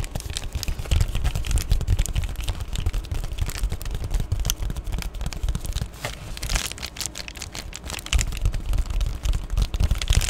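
A flat, thin Amazon Prime padded poly bubble mailer that appears empty is held up and tapped and scratched with long painted nails. The result is a rapid, irregular stream of soft thuds and crinkly scratching with a bright crackle, quieter for a stretch in the middle before picking up again.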